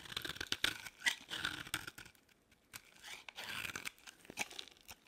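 A utility-knife blade shaves a solid, partly carved beige bar of dry soap into crumbly flakes. The cuts make dry, bright scraping and crunching sounds with sharp crackly ticks. Two bursts of shaving are separated by a short quiet pause.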